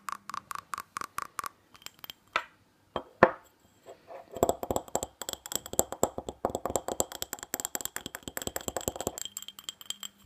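A small hollow glass tumbler with a red glitter coating, held in the hands, is tapped and scratched with long natural fingernails on its sides and base. Rapid, bright fingernail taps and clinks are broken by brief scratchy swipes, then give way to a long run of dense, fast tapping with short ringing tones.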